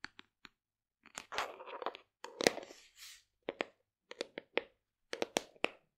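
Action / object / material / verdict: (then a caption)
tap / plastic supplement tub / plastic / none. Long nails tap on the side and lid of a large, hollow black plastic supplement tub, producing a series of quick, dry clicks with a hollow ring around 480 Hz and bright edges. In the middle, the taps blur into denser, crunchy scratching bursts before returning to separate sharp taps.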